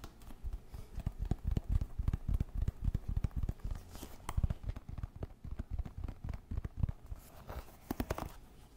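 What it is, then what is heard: Wooden paddle hairbrush. Fingertips and nails strum the wooden pin bristles of a wooden paddle hairbrush and tap its wooden back. The result is a quick, irregular run of dull, low, dry taps with no ring, mixed with brief, bright scratchy strums of the bristles.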